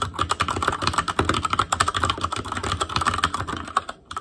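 Fingertips type continuously on an Asus Claymore Core mechanical keyboard with plastic keycaps. The result is a rapid stream of short, crisp clicks and clacks with a steady tone near 1.3 kHz. The typing briefly pauses near the end before resuming.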